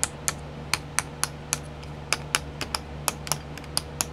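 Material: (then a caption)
Plastic. Long nails tap the lids of twelve small clear plastic pots filled with sequins, sitting in a pink tray. Seventeen sharp, bright clicks come at an irregular pace and die away almost instantly, over a faint steady low hum.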